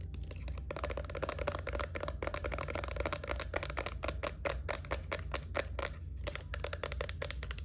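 A small, hollow, white plastic Ultra Doux body-lotion bottle with a silver pump top is held in the hands and tapped and scratched with long nails. A rapid stream of dry, clicky taps and scratches carries a hollow plastic tone near 580 Hz, with bright crisp edges over a steady low hum.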